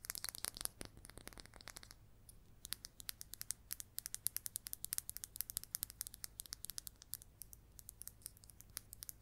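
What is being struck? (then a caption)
Resin billiard ball. Long red nails tap and scratch a hand-sized red number 3 billiard ball made of solid resin. Rapid, bright, sharp clicks come in a dense flurry of scratching for the first two seconds, then settle into quick, irregular tapping. A faint low hum runs steadily underneath.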